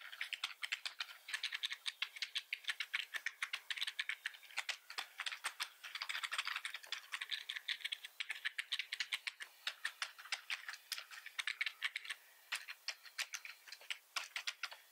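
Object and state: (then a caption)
Plastic computer keyboard being typed on. Fingertips type rapidly with both hands on a black plastic computer keyboard, producing a steady stream of rattly key clicks. The clicks are bright and crisp, with almost no low end and very short decay.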